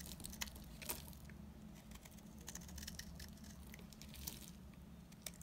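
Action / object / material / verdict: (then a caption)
scrape / bar of soap cut with a blade / soap / none. A blade cuts flakes off the face of a solid, dry green soap bar, shaving away crumbly curls. Quiet dry scraping and crackling run throughout, with sharp bright ticks and snaps over a steady low hum.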